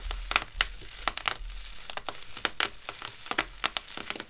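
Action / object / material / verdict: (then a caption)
scrape / plastic bubble wrap sheet / plastic / none. A large loose sheet of clear plastic bubble wrap, with thin, hollow, air-filled bubbles, is crumpled, rubbed and squeezed between the fingertips of hands in clear disposable gloves, the glove plastic perhaps adding a slight rustle. It gives an irregular run of sharp, bright crackles and snaps over a soft, steady crinkling hiss. Each snap dies away almost instantly.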